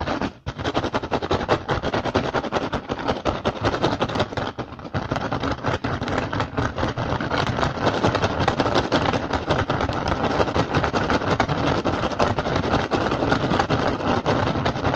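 Fingertips and short nails of both hands rapidly tap and scratch an upturned, hollow, empty woven rattan basket. The result is a dense, continuous stream of crackly, rustling clicks and scrapes with a hollow low thump under them. It holds a steady, busy level, apart from a brief dip near the start and another around the middle.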